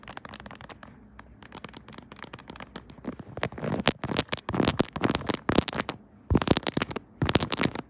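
A pink 3D silicone Kirby phone case on a smartphone held on a tripod is tapped and scratched with long nails across the keys and case surface. Soft, quiet scratching gives way to a rapid run of sharp, dry, crackly taps and scrapes that grow louder toward the end, with brief pauses between bursts.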